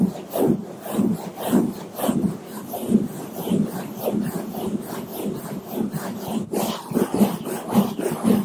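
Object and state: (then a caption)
Foam microphone windscreen being brushed. Two bamboo toothbrushes held in gloved hands brush and rub the sides of a black foam microphone windscreen in slower strokes. The result is a steady run of soft, scratchy swishes, thick and muffled in the low-mids, repeating at an uneven pace of roughly two strokes per second.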